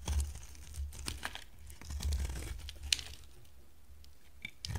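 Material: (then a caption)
Soap. An oval, hand-sized, solid orange bar of dry soap is held in the hand and shaved and carved with a box-cutter blade. Short, dry scraping and crunching cuts with bright, crisp edges sit over a low, steady rumble, and one sharper click stands out near the three-second mark.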